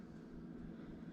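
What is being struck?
Nothing is struck.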